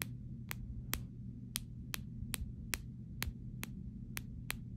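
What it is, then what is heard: Clear plastic phone case. Fingernails tap the back panel of a clear plastic phone case resting on fabric, giving twelve short, sharp, bright clicks that die away almost instantly. A steady low hum runs underneath throughout.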